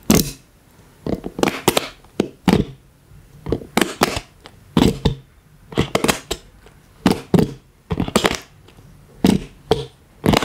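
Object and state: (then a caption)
Silicone collapsible water bottle. A collapsible silicone water bottle, held sideways, is tapped and squeezed along its ribbed hollow body by plastic toy hands worn on the fingers. Sharp, dry taps and crackling squeezes come in irregular clusters with a hollow low-mid body and bright clicky edges. Each sound dies away quickly, with quiet gaps between the bursts.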